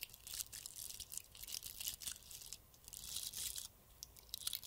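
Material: Glass beads.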